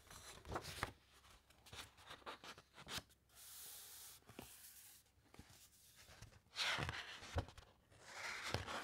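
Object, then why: Thick matte encyclopaedia pages. Long-nailed fingertips glide over the thick matte pages of an open, large encyclopaedia and then turn a page. Quiet scattered nail clicks and taps are interrupted by a steady, high brushing hiss. Louder, crisp paper rustles and a flap follow as the page turns over.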